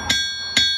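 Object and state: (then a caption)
Ringing forged steel anvil. A forged steel anvil is struck twice, each hit giving a bright, high metallic ping around 3.4 kHz. Its clear ring shows how a forged anvil sounds, as opposed to a cast one.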